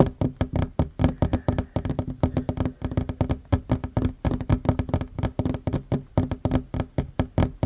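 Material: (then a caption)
Wood. Fingertips and short nails tap fast on a solid wooden tabletop, first with one hand and then with both hands. About 44 quick, dry knocks sound in a steady rhythm, with low, woody thuds that die away almost instantly.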